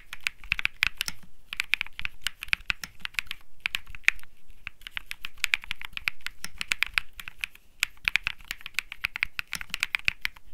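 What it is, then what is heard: Mechanical keyboard with plastic keycaps. Fingertips type continuously on a cream mechanical keyboard with plastic keycaps, producing a steady stream of sharp, bright clacks centered around 2.5 kHz. The keystrokes come in quick bursts separated by brief pauses, each click dying away almost instantly.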